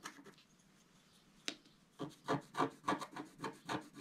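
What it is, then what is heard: Scratch-art paper sheet being scraped. A wooden stylus scrapes across a flat, black-coated scratch-art card. A few faint scratches and a sharp click come first, then a steady run of rhythmic, bright, raspy strokes.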